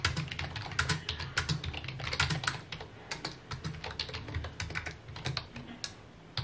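Fingertips type rapidly on a full-size white plastic keyboard with mint keycaps resting on a wooden desk. A steady stream of quick, dry clicks and clacks is heard, each with a bright top and a soft low thump. Every tap dies away almost at once.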